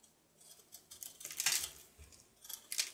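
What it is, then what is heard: Soap bar carved with a knife. A red-patterned knife carves and scrapes a solid soap bar with a painted red bow design, held in the hand. Quiet, crisp, bright scratchy strokes come in short bursts, with one louder shaving pass in the middle and another near the end, each fading quickly.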